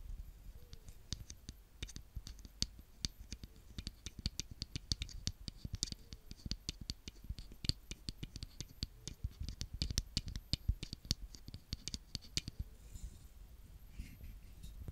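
A small plastic rake-roller toy with a green frame and purple roller is raked and scraped through loose brown kinetic sand by a hand with long nails. It makes a dense, steady run of quick, dry crackles, scratches and clicks, with bright crisp ticks over a soft low rumble. Each tick dies away almost at once.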